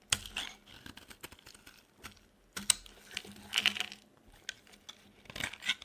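A metal blade carves a solid, dry, cream-white bar of soap, shaving thin flakes off into the hand. Crisp, bright scraping and crackling strokes come in short bursts with quiet gaps between them, each ending dry with no ring.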